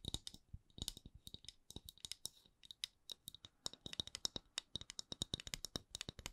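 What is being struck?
Wooden candle lid.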